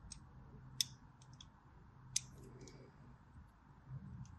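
A blade scores the edges of a solid white striped bar of soap while the bar is rotated in hand. Two sharp, bright scraping clicks stand out among several fainter ticks and crisp scratches over a quiet low hum.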